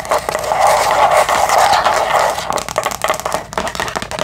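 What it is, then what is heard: Thin plastic food container lid. A round, clear, thin plastic divided food container lid, hollow and empty with small stickers, is held in both hands and tapped and scratched with long acrylic nails. Dense scratching with a bright hollow tone around 800 Hz fills the first half, then gives way to quicker, separate clicking taps.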